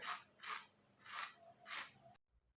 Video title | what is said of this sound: الفيديو ده للناس اللى الكبيبة مزبطتش معاهم السنة اللى فاتت تعالوا اقولكم ليه - walaa Ezat | تحفه جدا، اسمعوا كده. سمعتوا بقى صوت القرمشة